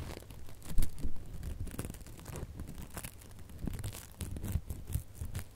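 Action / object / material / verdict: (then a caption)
scrape / glitter ribbon bow / metallic ribbon / none. Fingernails scratch and pluck a small decorative ribbon bow with gold metallic and red glitter loops. The result is a steady stream of dry, crinkly scratching with soft, irregular low thumps, bright crackle and a few louder plucks.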